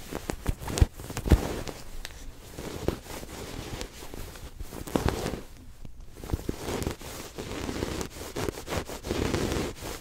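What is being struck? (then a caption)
Fabric-covered stuffed cushion. A soft, stuffed red fabric throw pillow with a white zigzag pattern is held against the chest and scratched and rubbed across its cloth surface with fingertips and nails. The result is a steady, muffled scratching and rustling, heavy in the low range, broken by brief sharp crackly scrapes and a short quieter pause near the middle.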